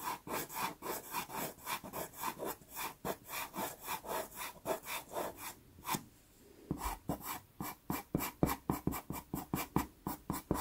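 A natural-wood pastel pencil shades and hatches across a small taped sienna Pastelmat card, making quick, dry, scratchy strokes at roughly four per second in an uneven rhythm. The strokes pause briefly around the six-second mark, then resume with slightly sharper, louder scrapes.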